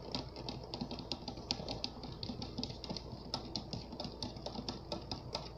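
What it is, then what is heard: Plastic water-filled Orbeez globe. Fingertips and nails of both hands tap all over the outside of a clear, round, hand-sized plastic globe on a lit base, filled with water and colorful Orbeez beads. The result is a rapid, continuous stream of soft, dull taps mixed with bright, clicky nail ticks that die away almost instantly.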